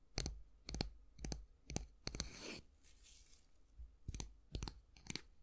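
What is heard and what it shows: Fingernails scratch and tap along the wooden handle and back of a solid, light wooden brush with a long flat handle and bristles. Short, sharp taps with bright clicks and a low thump come in loose clusters. A longer, brighter scratching rasp sits in the middle of the sequence.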